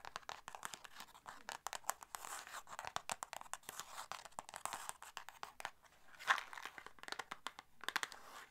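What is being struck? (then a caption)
Small paperboard box. Long nails tap and scratch the faces and edges of a small, hollow red and white paperboard box. Quiet, rapid dry clicks and papery scratches crackle on, mostly bright with little low end. One louder scrape stands out near the end.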